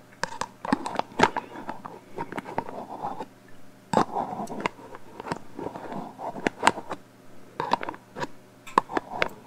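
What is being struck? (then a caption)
Metal aerosol can. A black metal aerosol hairspray can with a plastic cap, hollow and held horizontally, is tapped and scratched with fingertips and long nails along its metal body. Quick sharp taps mix with raspy scratching in irregular bursts. A faint hollow ring sits in the midrange.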